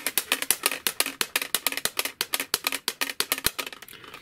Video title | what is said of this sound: How To Make Your Larp Plate Armor Quiet And Stealthy | it's noisy it sounds like plastic banging together